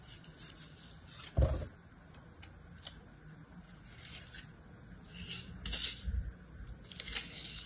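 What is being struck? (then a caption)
Kinetic sand in a plastic mold. A metal utility-knife blade scrapes and trims the surface of a star-shaped block of beige kinetic sand in an orange plastic mold held in the hand. Soft, gritty scraping runs throughout, with a louder low bump and scrape near the start and another cluster of brighter scrapes toward the end.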